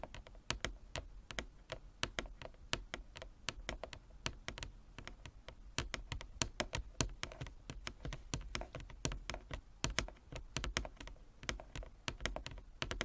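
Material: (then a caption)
Wood. Fingernails tap rapidly and unevenly on a wooden chess board, producing a long run of short, dry clicks that die away almost instantly. Each tap has a bright attack over a soft low thud, with the taps coming in quick clusters like typing.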